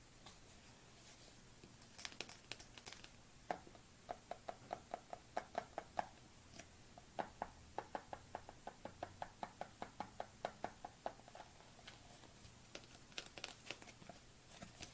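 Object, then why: Plastic tub. Fingernails tap and knock on the side and lid of a white plastic supplement tub held in the hands. Dozens of quick, dry clicks come in uneven bursts, many carrying a short hollow plastic tone near 730 Hz that dies away almost at once. A faint steady low hum sits underneath.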